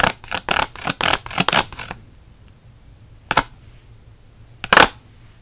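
A hand-sized pack of six Micron pens, sealed in a clear plastic blister on a pink cardboard backing, is held in one hand while the short nails and fingertips of the other scratch the blister. A quick run of bright, crinkly scratching strokes fills the first two seconds. After a quiet pause, two more isolated scratches follow.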